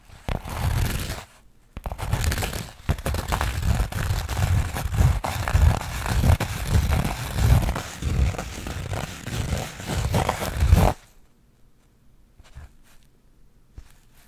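Long acrylic nails scratch and tap across the coarse beige burlap or linen weave of a flat rectangular fabric panel held in both hands. The result is dense, scratchy rustling in uneven stop-and-go bursts, with a brief pause early on. It weighs heavily in the low end, then cuts off after about 11 seconds into near silence with a few faint taps.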